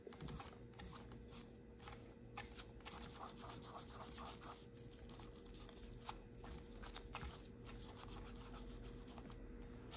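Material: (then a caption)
Plastic, rubber. Gloved fingertips rub and scratch the small, solid black plastic and rubber suction cup base of a car phone holder as it is held in the hands. Soft, uneven scratching and rubbing with brief brighter clicks rides over a steady low hum and a faint constant tone, staying quiet throughout.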